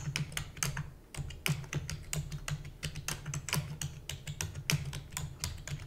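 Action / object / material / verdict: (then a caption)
tap / plastic computer keyboard / plastic / none. Rapid typing with long nails on a black plastic computer keyboard produces a fast, uneven stream of sharp, bright clicks and taps that end quickly. A steady low hum runs underneath throughout.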